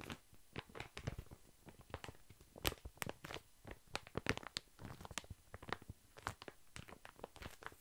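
A full, large soft pack of baby wipes wrapped in thin plastic film is held beside the mic and scratched with long fingernails. The result is dozens of quick, dry crinkling scratches, each a short, bright crackle over a soft, low rustle, at a quiet overall level.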